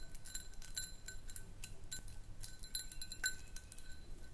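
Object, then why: Small glass jar partly filled with powder. Long nails tap quickly and irregularly on a small round clear glass jar, partly filled with white powder or sand and tilted in the hands. Each tap gives a bright, glassy clink with a steady tone near 1.5 kHz that dies away almost at once, over a quiet low rumble.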